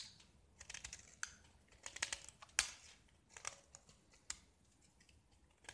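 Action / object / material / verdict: scrape / painted gypsum plaster block / gypsum plaster / none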